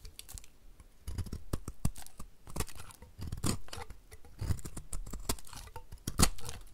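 A snap-off utility knife blade scrapes and cuts curls from a solid rectangular two-tone green and blue bar of dry soap held in the hand, and the shavings pile up beside it. Crisp, dry scraping and crackling strokes come in quick bursts with very short decay. Each burst is loudest in the low body but has bright edges.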